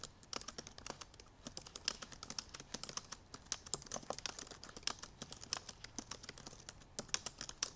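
Long nails type rapidly on the black plastic keys of a silver aluminum MacBook Pro laptop keyboard. The result is a fast, uneven stream of sharp, bright, dry clicks and taps that stop instantly with no ring, over very little low end.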